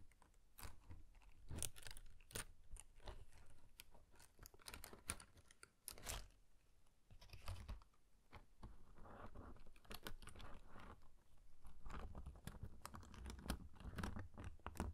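Fingertips strum and flick the thin paper strings of a brown and gold paper pop-up harp in an open cream card. Quiet, rapid papery ticks and crisp flicks come in irregular bursts, each dying away almost at once over a low, soft rumble.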